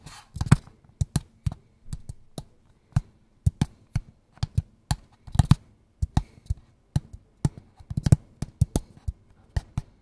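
A small, hollow, Mi-branded kraft cardboard product box, held in both hands close to the mic, is tapped and scratched with fingertips and short nails. About 29 short, dry, hollow taps come in an irregular rhythm, some in quick doubles or clusters. Their deep, low thuds die away almost instantly, with faint scratching between them.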